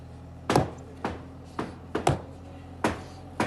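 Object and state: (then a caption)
Solid concrete wall. Eight dull, short knocks sound on a 100mm moladi cast concrete wall, each dying away almost at once with no ring. The tight, solid thud shows the wall is strong and solid.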